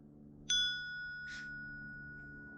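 A pattern-welded damascus steel dagger blade, forged from a wrench, is struck once for a ring test. It gives a long, clear, bright ring centered near 3.4 kHz that sustains steadily over a low background hum, with a brief soft hiss partway through. The clean ring shows the blade is soundly forge-welded, with no delaminations or cold fuses.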